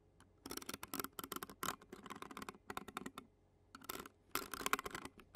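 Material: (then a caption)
Metal mesh. Clear plastic fork tines scratch and tap across the black metal mesh grille of a handheld Zoom recorder. Dense bursts of crisp, crackly scraping and quick ticks come in clusters separated by short quiet pauses, bright and close with almost no low end.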